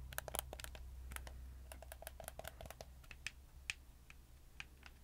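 Fingertips click the shoulder buttons and face buttons of a black, hollow, hard-plastic PlayStation 4 controller held up near the mic. The result is a quick, irregular run of short, dry, bright plastic clicks that stop almost instantly, heard over a steady low hum.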